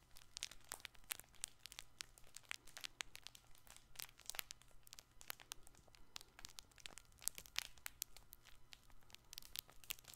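Fingertips and nails scratch and squeeze a colorful, hand-sized soft fabric baby ball held close to the microphone. Dense, bright crinkling and scratchy crackles come in rapid bursts throughout, over a faint steady low hum.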